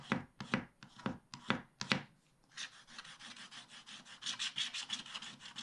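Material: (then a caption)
Waxed paper. A wooden stylus scratches the black wax coating near the bottom of a scratch-art page in a spiral pad, held down by one hand. A handful of separate, bright, raspy strokes are followed by a short pause and then a few seconds of faster, continuous scratching with a steady hissy texture.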